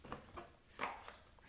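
A windowless, plastic-free cardboard box holding a Hasbro Thor: Love and Thunder 6-inch deluxe action figure is shaken, and the figure inside is wrapped in paper rather than held in a plastic clamshell. Four soft, muffled shuffling knocks are heard as the contents shift, each carrying a brief papery rustle with a bright hiss at the end.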